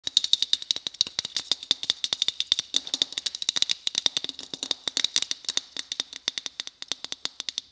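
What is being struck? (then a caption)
Christmas bauble. Fingers tap on a white Christmas bauble in a quick, steady run of about sixty crisp taps over nearly eight seconds. Each tap is a bright, high-pitched click that stops almost instantly, with no low-end body.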